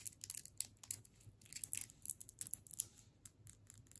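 Long fingernails tap and scratch along the shaft of a solid striped candy cane in a plastic wrapper, held in the other hand. The result is a quiet, quick run of bright, crinkly clicks that die away almost instantly, over a faint low hum.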